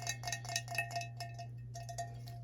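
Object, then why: Seashell-shaped ceramic planter. A pink vintage seashell-shaped planter from a thrift haul is tapped repeatedly, giving light, bright, chime-like clinks that die away quickly. A steady low hum runs underneath.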